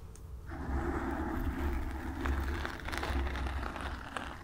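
Long nails scratch the sides and front of a black foam windscreen on a microphone, producing a dense, continuous scratchy rustle dominated by a deep low rumble. The sound stays steady and muffled throughout, with a few faint brighter ticks near the end.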